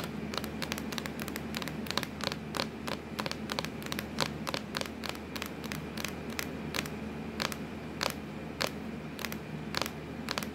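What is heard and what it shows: Long acrylic nails scratch and tap on a hollow, black textured plastic laptop lid. Rapid, sharp, bright clicks land in an uneven rhythm over a steady scratchy rasp and a low, constant hum. Each tap dies away almost instantly with no ring.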